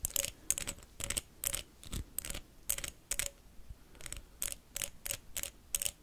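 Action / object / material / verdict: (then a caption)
tap / wax pillar candle tapped with metal paperclips / wax / none. Metal paperclips worn on the fingertips tap and scratch quickly across a blue pillar candle made of solid wax with a textured surface. There are 16 separate sharp, bright bursts, each a short clicky scrape with a faint low tone around 550 Hz and crisp high-frequency hiss. The hits die away almost instantly.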